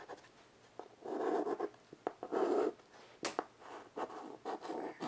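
White chalk held in the fingers makes quick scratching strokes across a small wood-framed blackboard resting on carpet. The clip is a run of dry, raspy scrapes: some short, some drawn out for about half a second, with brief quiet gaps between them. The sound sits mostly in the midrange with little low end.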